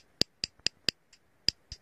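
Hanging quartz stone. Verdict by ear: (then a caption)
Not jade. A quartz stone hanging on a string is struck as a comparison with jade: six sharp, high, clicky taps, with two fainter ones between them, each dying instantly with no ring. The dull, plain stone sound differs from jade's, showing it is quartz, not jade.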